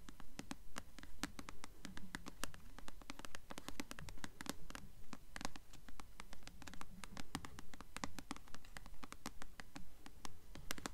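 Long nails scratch and tap the glossy paper cover of a blue paperback novel, "Delirium," held upright. A steady, rapid run of sharp, dry clicks and brushing scratches sits over a soft, low rustle. Each tap is bright at the edge and fades almost instantly.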